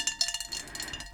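A large shell-shaped ceramic dish with a bright blue glaze is tapped five times in quick succession. Each tap gives a bright, high-pitched, cowbell-like ring that dies away almost at once.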